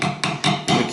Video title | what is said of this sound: The Ultimate Guide to Modifying Your Guitar for Amazing Results | we can hear when you tap on it with the screwdriver you can hear it